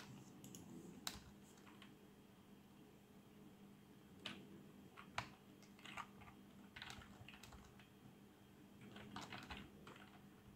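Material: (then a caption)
Plastic. Fingertips type on a black plastic membrane keyboard with RGB backlight, producing soft, bright taps and clicks in irregular bursts. A few sharper keystrokes stand out, and each hit dies away almost at once over a faint, steady low hum.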